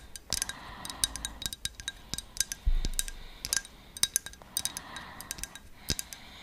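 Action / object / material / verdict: tap / glazed ceramic figurine / ceramic / none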